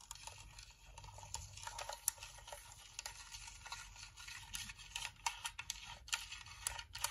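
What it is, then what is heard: Plastic nail lamp dome. Nails and fingertips tap rapidly on the top and front edge of a white, hollow plastic UV nail lamp dome. The sound is a quiet, steady patter of bright, dry clicks that die away instantly, with a few sharper, louder taps standing out over a faint low background hum.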